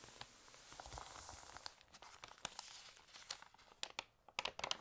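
Fingernails tap and scratch across the pages of an open, water-damaged glossy paper magazine as its pages are turned. The sound is a quiet, bright crinkling with soft rustles and sharp, quick-fading ticks.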